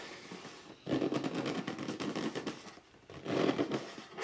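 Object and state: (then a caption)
Cardboard box being scratched. Fingertips rub and scratch along the printed lettering on top of a hollow red cardboard box lying flat. Two bursts of dense, crackly scratching with a papery, hollow low-mid body are heard, separated by a quiet pause.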